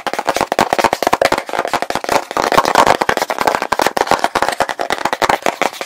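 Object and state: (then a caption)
Plastic petroleum jelly jar. A medium plastic petroleum jelly jar, full of pale jelly, has its blue plastic lid tapped and scratched rapidly with fingertips and nails. The result is a dense, fast flurry of dry, hollow plastic clicks and scrapes centered in the midrange around 900 Hz, with almost no low end and very short decay.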